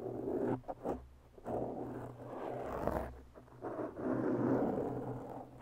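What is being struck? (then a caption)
Foam microphone windscreen. Long bare natural nails of both hands slowly scratch a black porous foam windscreen on a microphone. The result is a muffled, rasping scrape centred in the low-mids, with no bright top. It comes in irregular drawn-out strokes separated by brief quiet gaps.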